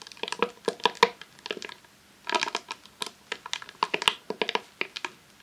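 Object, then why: Vinyl sheet roll in plastic sleeve. Long nails tap and scratch a long roll of vinyl adhesive sheet in a clear plastic sleeve resting on a tablecloth. About two dozen quick, dry crinkling taps and scrapes come in bursts, with a short pause midway, each clicking bright and dying away almost at once.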